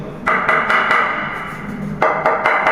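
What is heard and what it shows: A ceramic floor tile is tapped in two quick bursts of sharp, bright knocks, each leaving a sustained mid-pitched ring between the hits. The tile is judged to be starting to sound slightly hollow, in contrast to a solid-sounding tile.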